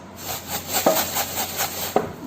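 A tin jar containing rice is shaken, giving a series of grainy, swishing rattles that swell and fade in waves, with a couple of sharper clicks standing out. The sound is mostly bright and hissy, with little low end.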